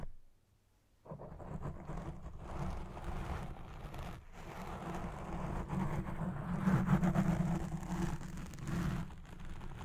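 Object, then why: Foam microphone windscreen. Fingertips with red nails scratch the top and sides of a black foam windscreen on a Blue Yeti Pro microphone as it records. After about a second of near silence, a dense, muffled rumbling scrape fills the clip, heavy in the low end with a rough crackling texture. It swells slightly louder around the seventh second before easing back.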